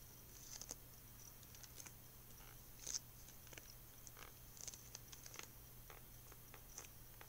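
A hollow, closed white plastic VHS clamshell case with a printed Lilo & Stitch cover is held up and tapped on the front with fingertips and nails. The result is a quiet series of short, dry, bright clicks and taps, the sharpest near the three-second mark, over a steady low hum. Gum chewing may be faintly audible in the background.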